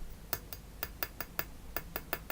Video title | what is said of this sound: First Alert C0410 Carbon Monoxide Detector Teardown | it sounds hollow that means it's got chemicals